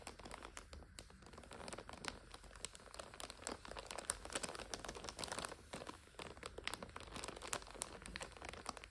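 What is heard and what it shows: Long nails and fingertips press, scratch and crinkle the clear plastic overwrap of a full purple instant noodle 5-pack. The result is a quiet, steady stream of dense crinkling, broken up by sharp, bright clicks and crackles with little low end.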